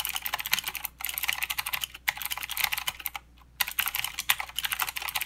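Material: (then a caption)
Plastic. A full-size mechanical keyboard with plastic keycaps and blue clicky switches is typed on continuously with the fingertips of both hands. Rapid, bright clicks patter in quick bursts, with a few brief pauses between runs of keystrokes.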